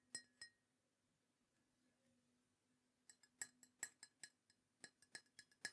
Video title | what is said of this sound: ASMR Mug Collection Tapping & Tingles ☕️ (Soft Spoken, British Accent, Ceramic Sounds) ✨ | it sounds great when you're tapping on it as well. It's got a really nice glaze on it, I assume, that just makes it sound lovely